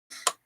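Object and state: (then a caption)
Fully baked clay piece, hard. A small sculpted polymer clay piece, teeth for a Monster Book of Monsters prop, is tapped three times on glass after being baked in the oven. It makes short, bright clicks with a sharp high tick and almost no ring. The piece is fully baked and hard as stone.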